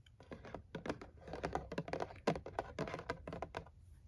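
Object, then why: Printed cardboard box. Both hands tap the sides of a tall, hollow, printed cardboard product box with fingertips and nails; the box appears to hold a jar and a scalp massager. A rapid, uneven series of soft, dry, hollow taps sounds in the midrange, each dying away almost at once with little bright edge.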